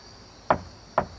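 Two knocks on a wooden surface, each a short, dry, hollow tap with a midrange tone that dies away almost at once. They fall about half a second apart over a faint steady background hiss.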